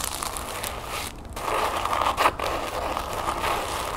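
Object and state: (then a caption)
Crinkled tissue paper. Long nails scratch and crinkle folded orange tissue paper resting on a wooden table, producing a steady, dense papery crackle with a bright rustling edge. The sound briefly thins just after the one-second mark, then returns louder and peaks in a sharp crinkling burst a little past two seconds.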